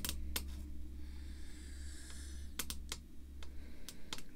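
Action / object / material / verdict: tap / acrylic screw-down card holder / acrylic / none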